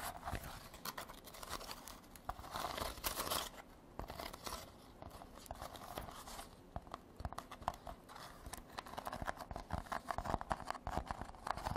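A woven rattan basket is tapped and scratched with artificial nails. Quiet, dry crackling scrapes mix with quick clicky taps that stop almost at once, with a brighter burst of rapid scratching near the middle and denser tapping toward the end.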